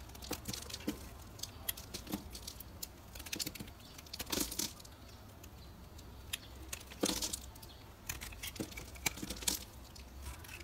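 A solid, square, translucent orange bar of soap held in the hand is cut and scraped into flakes with a metal carving knife. It makes quiet, bright, crisp scraping crackles and sharp little snaps, with a few louder cuts standing out over a low steady hum.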